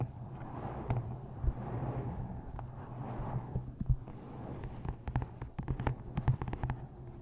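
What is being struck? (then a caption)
Paperback book with card cover. Long nails tap and scratch across the matte card front cover of a paperback book held upright in front of the mic. Soft, rustling scratches fill the first half, then give way to a quick run of sharp, dry taps over a steady low hum.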